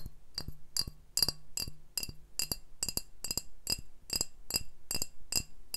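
Glass beer bottles are tapped in a steady series of short, bright clinks, about sixteen in all. Each tap rings high and dies away almost at once.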